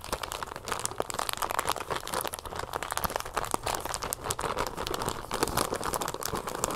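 A small clear plastic bag partly filled with brown sugar and closed with a red twist tie is held up and crinkled and scratched with long painted nails. Dense, crisp crinkling and crunching goes on without a break, with quick bright scratches and small sharp peaks over a steady rustle.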